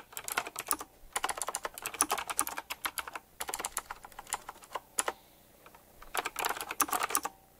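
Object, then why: Mechanical keyboard with round plastic keycaps and metal frame. Fingertips type quickly on a full-size typewriter-style mechanical keyboard with round black plastic keycaps, chrome-look rims and a metallic frame. Rapid, bright, clicky key taps come in dense bursts separated by brief pauses, each tap decaying almost instantly.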